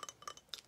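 Light, glassy taps on a small decorative ceramic tile from a thrift store, usable as a coaster, hot pad or wall hanging. Several quick, bright clinks are heard, each dying away almost at once with a high, ringing tone.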